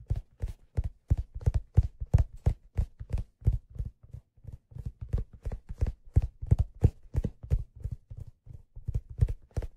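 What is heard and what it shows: Fingertips tap the leather crown of a black leather fedora, its hollow crown held up. The result is a quick, slightly uneven run of short, dull, low thuds, each dying away almost instantly.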